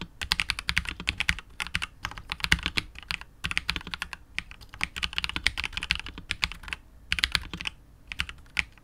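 A 65% KBD67 Lite R2 mechanical keyboard with KTT Wine Red switches, a hollow clear polycarbonate case and PBT keycaps is typed on continuously with the fingertips of both hands. Quick, bright, clacky keystrokes come in dense bursts separated by short pauses, each with a low thock underneath and almost no ring.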